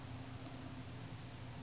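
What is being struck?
Nothing is struck.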